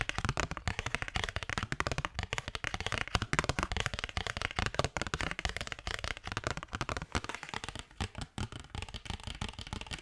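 A thin cardstock paper postcard is tapped and flicked with fingertips and nails in a fast, steady stream. The taps are dry and crisp, with a soft low thump under bright, papery clicks that stop almost instantly.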